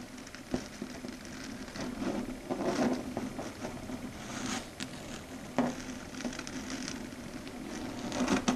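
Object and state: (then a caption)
Chalkboard tapped with fingernails. Long red stiletto nail tips tap and scratch across a flat dark grey chalkboard surface. The result is a quiet, uneven patter of light clicks with a few sharper taps standing out, over a soft hollow scraping. Each tap dies away almost at once.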